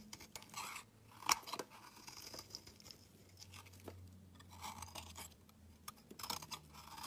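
A solid dark grey rectangular bar of soap is shaved with a metal utility knife blade, giving off flaky shavings. Quiet, bright scraping and crisp crunching strokes repeat through the clip, with a sharper crack near the start. A low steady hum sits underneath.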